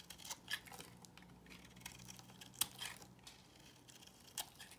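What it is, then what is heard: Bar of soap being cut and scraped. A box cutter blade cuts into a solid, square, beige bar of soap held in the hand, scraping off pieces. Quiet, bright, crisp scraping and crackling bursts come at irregular intervals over a faint steady low hum.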